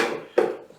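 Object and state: Carbon air filter still good.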